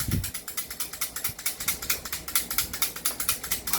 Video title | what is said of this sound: Review N Unbox of CZ Shadow2 & 2011 7.0 Dragon | Hindi to upgraded eh. Diba? Ito kumakalog.